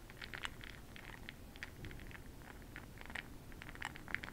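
A makeup brush stirs a small clear glass cup full of bronze makeup pearl beads held in hand. Quiet, rapid bright clicks and rattles scatter throughout over a low, steady background noise.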